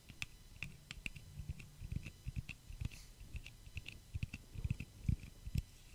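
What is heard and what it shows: Long fingernails tap and click along the temple arms of small, solid clear-pink plastic eyeglass frames worn on the face, near the ears. A quiet, irregular run of short, dry clicks with a soft low thump under each and a bright tick on top, stopping dead with no ring.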